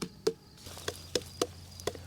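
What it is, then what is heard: Ripe watermelon. A watermelon in the patch is slapped by hand in a series of short, hollow thumps, each with a mid-low tone around 440 Hz that dies away almost at once. The sound marks the watermelon as definitely ripe, sound being the most reliable way to tell.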